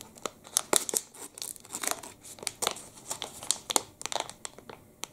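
A long, thin black and red plastic wrapper from a full Panda Pepe liquorice stick is rubbed and crinkled between the fingertips. It gives a bright, dry crackling with irregular bursts of sharp crinkles and snaps over soft rustling. There is almost no low end, and each crackle stops instantly.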